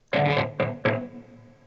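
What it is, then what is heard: Acoustic guitar back knocked. Three knocks on the back of a guitar body, each a hollow, resonant thump with a tone near 530 Hz that rings briefly and fades. The knocks sound much like knocks on the front of the same guitar.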